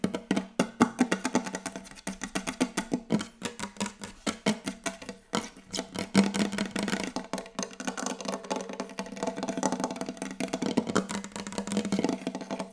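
Very fast, aggressive tapping on a wooden table gives a dense stream of short, dry knocks with a woody tone around 195 Hz. The taps start as distinct bursts, then blur into a near-continuous rattle before easing off at the end.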